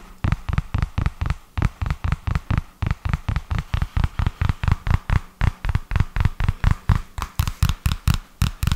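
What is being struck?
Paper notebook cover and edge.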